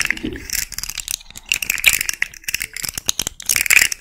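Long nails run over the hollow, jointed hard-plastic segments of a small rainbow fidget slug toy and bend its joints. The result is rapid, bright, dry ratchet-like clicks and rattles with almost no low end and no ring.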